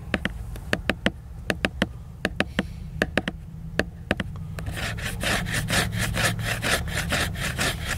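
A fingernail taps on the glossy laminated cover of a hardcover book lying flat, making sharp, brief, bright clicks at uneven intervals for about four and a half seconds. It then switches to faster, rougher scratching strokes across the cover that are noisier and more continuous. A steady low hum sits underneath throughout.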